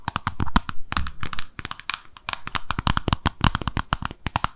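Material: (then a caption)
Ceramic. A small white-pink glossy oval ceramic soap dish with drain holes, peg feet and a hollow underside is held in both hands and tapped and scratched with long acrylic nails. Rapid, sharp clicks with almost no ring overlap with dry scratching, each tap giving a short tone around 1 kHz over a low thud.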